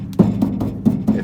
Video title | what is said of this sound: 1950 Chevy 3100 Power Windows Part - 2 | I think I'm getting a little a little rattle from this but that'll be okay